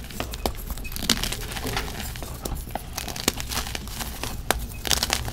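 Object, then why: Pressed gym chalk and sand slab. Bare fingertips and palms break apart pressed, brittle, solid gym chalk slabs made of magnesium carbonate and sand in a plastic tub full of loose powder, then rub the crumbs into powder. Dense, dry crunching and crumbling continue throughout, with sharp, short snaps as pieces crack, over a bright, gritty hiss.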